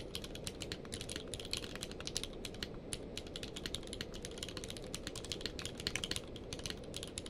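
A full-size plastic mechanical keyboard with a blue-grey case and white and grey plastic keycaps, lying on a blanket, is typed on rapidly with the fingertips of both hands. Quick, bright, clicky key presses come in a steady, dense stream over a soft low rumble.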